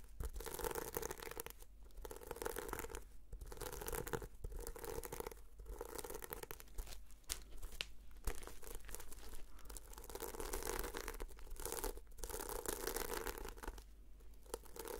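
Long fingernails brush and scratch across the sequins of a red sequin-covered notebook, producing a dense, quiet, crinkly scratching and rustling that runs in long strokes. The strokes are separated by several brief pauses, over a steady low hum.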